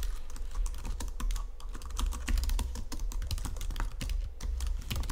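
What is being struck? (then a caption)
Plastic computer keyboard. Fingertips and nails type rapidly on a white plastic Logitech keyboard resting on marble, producing a dense run of short, sharp clicks and taps with bright edges. A steady low hum sits beneath the typing throughout.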